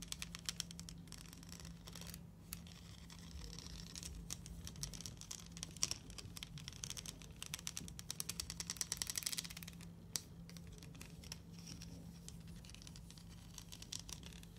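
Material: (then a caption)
Plastic. Long nails scratch and flick across the coils of a hollow plastic rainbow slinky spring glowing under UV light, making the coils clack against each other. Quiet, rapid, dry clicks and bright rattling ticks run throughout, over a steady low hum.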